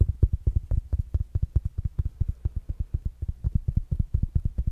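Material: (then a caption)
Fabric. A small, rounded black smart speaker with a fabric mesh cover is held up and tapped with fingertips and nails. The result is a quick, steady run of dull, deep thumps with almost no ring, heavy in the low end with only faint higher clicks.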